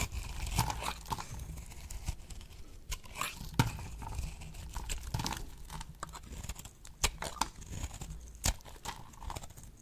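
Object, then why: Bar of soap. A solid oval pink bar of dry soap resting on a palm is shaved with a box-cutter blade. The clip is full of quick, dry crunching and crackling scrapes, with sharp bright ticks and a soft low rumble underneath.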